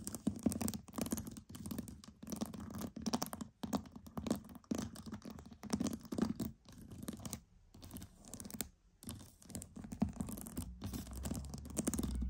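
Pearls are tapped and scratched up close in a steady stream of quick, dry clicks and rasping scrapes. The sound sits mostly in the low-mids with little high content, pausing briefly near the middle before carrying on.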